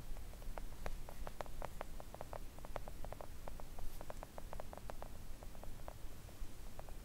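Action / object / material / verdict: tap / silicone mat tapped with long nails / silicone / none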